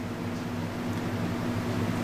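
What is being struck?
Nothing is struck.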